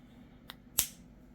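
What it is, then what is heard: Raw egg with cracked inner membrane. A spoon taps the rounded end of a raw chicken egg twice: a faint, bright tick, then a sharper crack about 0.3 seconds later as the inner membrane breaks, quickly this time. The shell itself stays uncracked.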